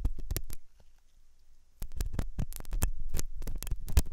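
A metal dental pick scrapes inside the hollow ear canal of a white, soft silicone ear on a binaural microphone. It makes a rapid series of close, dull scratching taps, heavy in low rumble, with a quiet pause of just over a second before the scraping resumes more densely.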